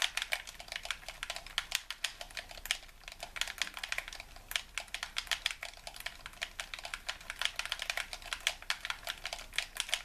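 A hollow white plastic handheld game controller is held in both hands while thumbs and fingertips press and tap its buttons rapidly. A steady stream of short, bright plastic clicks sounds with almost no low end, each click dying away almost instantly.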